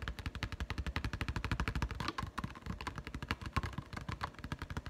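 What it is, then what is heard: Plastic blister pack with putty egg. Fingertips and nails tap rapidly on the clear plastic blister of a Nite-Glo Putty retail card holding a putty egg. About 37 quick, dry taps come in a steady stream, each a short hollow thump with a faint plastic click on top that dies away almost instantly.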